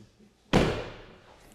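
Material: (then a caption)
Metal. The front door of a BMW iX electric SUV, which has a frameless window, is slammed shut in a single hit. It gives a sharp mechanical slam with a rattly, plasticky edge and a short fading tail, unlike the vault-like thud of a full-framed door.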